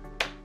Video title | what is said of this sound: アメリカンエキスプレスビジネスゴールドカード到着！！金属製カードげっとしました。 | 薄っぺらいんでねなんかそんなに大きい音もねならない感じですかね。なんかプラスチックの音っていう感じ